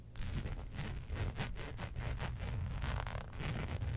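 Long pointed nails scratch the surface of a flat black embossed faux leather sheet resting on a fur rug. A steady run of rapid, rough scraping strokes comes in repeated bright, gritty bursts over a dominant low, dull rumble. The texture stays dense and continuous with no ringing between strokes.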